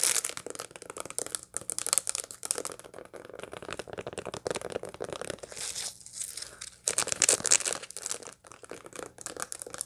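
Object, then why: Dried sunflower seed head. Long light-blue nails scratch and tap across the packed seed face of a dried sunflower head still holding its seeds. The result is a dense, bright, dry crackling and crunching with quick clicky taps that barely ring. A quieter, softer stretch near the six-second mark gives way to a louder burst of scratching.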